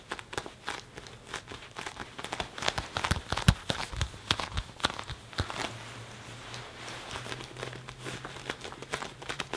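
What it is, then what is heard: Leather jacket sleeve being rubbed. Fingertips and a palm rub and squeeze the padded, soft sleeve of a black leather (possibly faux leather) jacket worn on an arm crossed in front of the chest. Irregular, quick crinkling and creaking scratches come in bursts of bright crackle, easing into softer, denser rubbing in the second half. A faint low steady hum sits underneath.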